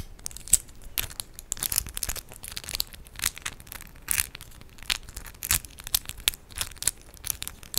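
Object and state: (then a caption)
Acrylic press-on nails clicking together. Long decorated acrylic press-on nails of hard plastic with raised 3D charms are interlocked between the fingertips of both hands, so the nails click and scratch against each other. A quick, irregular run of bright, dry clicks and brief scratchy rasps is heard, each snapping off almost instantly with little low-end body.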